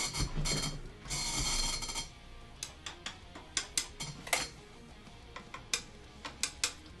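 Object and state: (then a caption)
Guitar neck pickup silent when tapped (fault). A guitar's neck pickup is tapped through an amp but stays silent, a fault traced to the 3-way switch rather than the pickup itself. Two bursts of bright, buzzy noise open the clip, followed by a run of sharp, dry ticking taps with little ring over a low background hum.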